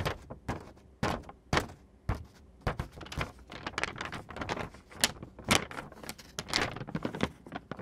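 Fingertips and nails scratch a thin, printed glossy photo paper sheet, then the hands lift and bend it. The result is a quick, irregular run of dry, bright scratches and crisp crinkling snaps with short, sharp attacks and almost no ring-out.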